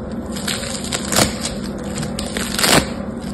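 Yellow-green foam bead slime (floam) is torn into pieces and pressed back into one lump with fingertips and nails. It makes a continuous crunchy, crackling squish, with two louder, brighter crunches standing out over a low steady hum.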